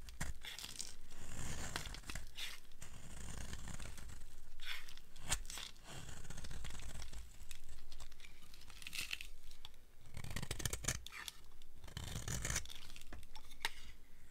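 A small blade carves a solid, dry red soap bar, with the shaved flakes piling up beside it. Continuous dry scraping and crackly, tearing shaves come in uneven bursts, with a soft low thump under each cut and brighter crisp edges on the harder strokes.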